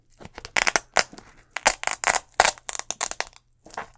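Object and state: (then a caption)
Leather sneaker upper. Fingers and nails scratch and tap the leather upper and removable swoosh of an empty white leather Nike Air Force 1 low sneaker with a gum sole. Bursts of bright, crinkly scratching alternate with short, dry taps that stop almost instantly. The bursts are separated by brief silences, with a longer pause before a final soft scratch.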